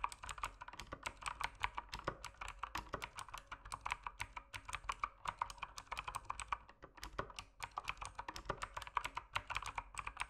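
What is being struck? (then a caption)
Mechanical keyboard with plastic keycaps. Rapid fingertip typing on a mechanical keyboard with plastic keycaps produces a dense, steady stream of short, sharp clicks and clacks with a bright, crisp edge. Each keystroke dies out almost instantly, with the tone centered around 1 kHz and a faint low hum underneath.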